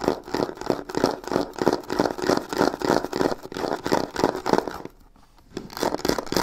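Long nails rapidly scratch and tap both sides of a hollow, black croc-embossed faux leather covered box near its corner with white stitching. The result is a dense, irregular run of dry, raspy scrapes and short clicks centered in the mids, about three per second. It pauses into near silence just before the five-second mark, then resumes.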